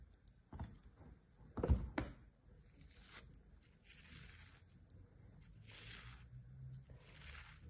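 A thin metal knife blade scrapes and slices through the surface of a small, solid turtle shape molded from beige kinetic sand, held flat on an open palm. Brief gritty cuts, loudest near the start, give way to softer, breathy scraping strokes with a high, sandy hiss. The blade leaves cut lines and loose crumbs behind.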